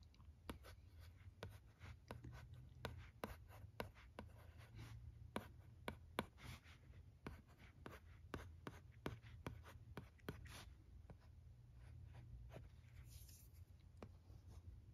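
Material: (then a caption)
Plastic. A red plastic stylus writes block letters on a teal plastic LCD writing tablet, making quick, sharp scratching and tapping strokes. The short, dry ticks come one after another over a steady low hum throughout.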